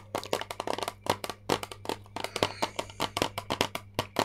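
Long painted nails tap a flat, rectangular, hand-sized plastic eyeshadow palette, with a clear lid over a grid of colored pans, held in both hands. About 23 quick, dry, clicky taps come in an uneven rhythm, each bright and dying away almost at once. A faint steady low hum runs underneath.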